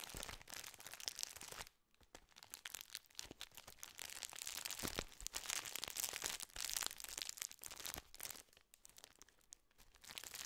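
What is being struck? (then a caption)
Plastic biscuit wrapper. A full plastic biscuit wrapper is crinkled and squeezed with the fingers close to the microphone, producing bright, dense crackling and crunching with short sharp bursts. The rustling comes in irregular waves with quieter pauses, mostly high in pitch with very little low end.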